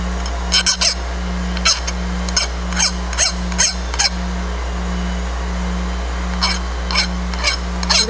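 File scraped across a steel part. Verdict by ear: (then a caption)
Dull. A file is scraped across a steel part in a file test for hardness, producing a series of short, dull, rasping strokes with pauses between them. A steady low hum runs underneath throughout.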